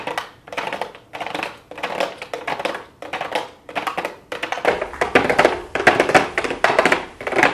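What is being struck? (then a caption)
Small cardboard box with clear plastic window. Long blue acrylic nails tap rapidly across a small, hollow pink cardboard makeup box with a clear plastic window, producing typing-like clicks in short, bright bursts with brief gaps between them. The tapping is dry and crisp, centered in the midrange with little low end, and grows louder and denser in the second half.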